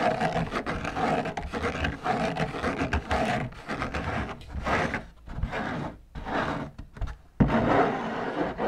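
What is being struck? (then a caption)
Fabric drum lampshade. Long nails scratch and rub down the white textured fabric on the outside of a large hollow drum lampshade. The result is a dense, raspy scratching in repeated strokes, with brief pauses and a sharp louder stroke near the end.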